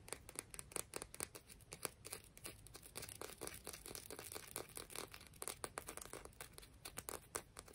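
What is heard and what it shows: A rock from the beach is tapped and scratched, giving a quick, steady run of sharp, dry clicks mixed with gritty scraping. Each hit is bright and dies away almost instantly.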